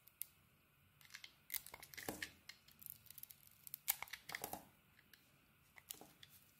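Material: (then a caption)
Soap. A small metal blade carves and scrapes a hand-held solid oval bar of soap, cream inside with a red coating. Quiet, crisp, bright scraping and crackling cuts come in an irregular series of short bursts with no ring.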